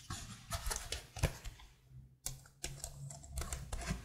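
Long blue-painted nails and fingertips tap and type on the patterned keycaps of a detached black plastic laptop keyboard held behind the mic. The result is a run of short, dry clicks and clacks with bright tops, broken by a brief quiet pause near the middle, over a steady low hum.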